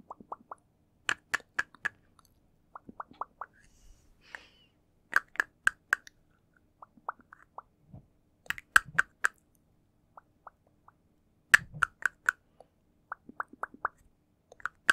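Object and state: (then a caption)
Plastic ingot ornament. A small, shiny gold-coloured plastic ingot in the traditional yuanbao style, held in one hand close to the mic, is tapped with long fingernails. The result is crisp, bright, dry clicks centred around 1.7 kHz that die away almost instantly, coming in quick clusters and single taps with short pauses between.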